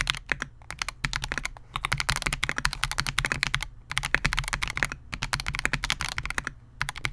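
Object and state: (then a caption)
Mechanical keyboard with polycarbonate case. A Melgeek MOJO68, a compact 68-key mechanical keyboard with Gateron G Pro Silver switches, a clear polycarbonate case and SA-profile plastic keycaps, rests on a desk mat while the fingertips of both hands type continuously on it. Rapid runs of sharp, bright clacks over a soft low thud are heard, each press dying away almost instantly, with brief pauses between bursts.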